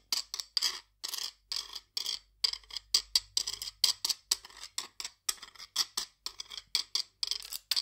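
A flat metal scraper is drawn across the ridges of a steel guiro, a hollow stainless steel cylinder held upright. It gives a steady series of short, bright, raspy scrapes with a high metallic sizzle and almost no low end, each stroke stopping quickly before the next.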